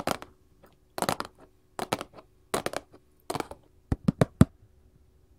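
A printed paperboard candy box resting on a table is tapped with gold metal claw jewelry. Short clusters of quick, dry, crisp clicks alternate with brief silences, and the clip ends with a few sharper, separate taps carrying a hollow low thump.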